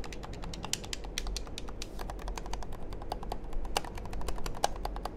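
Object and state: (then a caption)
Plastic game controller. Fingertips and nails rapidly click the buttons and tap the casing of a small, hollow black plastic game controller held close to the microphone. The result is a dense stream of sharp, bright, brief clicks over a steady low hum.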